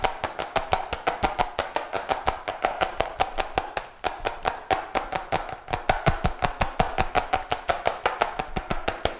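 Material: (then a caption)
Cardboard. A colorful cardboard notebook with a glossy cover, held in both hands, is tapped quickly and hard on the cover with fingertips and nails. About fifty sharp, dry clicks land in an uneven, rapid stream, each with a hollow papery knock around 700 Hz and a bright crackle on top. They die away almost at once.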